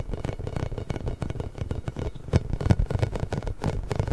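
A large pink inflated hollow rubber massage ball with small spikes is tapped and rubbed with fingertips and nails. It gives a steady run of soft, dull, low thuds with a faint scratchy rustle. Each tap dies away almost at once, with a few louder knocks near the end.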